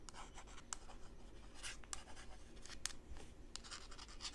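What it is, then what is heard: Plastic coffee tumbler. Long pink nails tap and scratch the outer wall of a hand-held, hand-sized mint-green hollow plastic coffee tumbler with printed lettering, which appears empty. Quiet, continuous dry scratching is broken by sharp, bright clicks that die away almost instantly.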